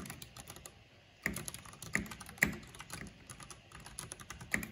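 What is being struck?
Plastic mechanical computer keyboard.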